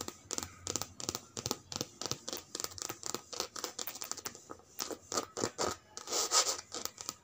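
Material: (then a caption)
Coated canvas. Long red nails scratch across the body of a cream-and-grey checkered coated canvas handbag with a leather strap and metal charm, lying flat. The result is a rapid series of short, crisp, bright scratching strokes with almost no low end, each dying away almost instantly, growing louder and denser toward the end.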